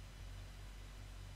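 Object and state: Nothing is struck.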